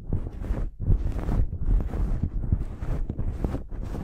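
Long acrylic nails scratch a blue cotton terry cloth towel draped over a microphone. The result is a steady run of deep, muffled, rumbling scratches with brief brushy swells, almost all of the sound sitting in the low end with no bright highs.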